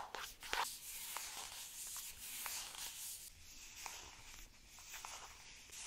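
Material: Plastic.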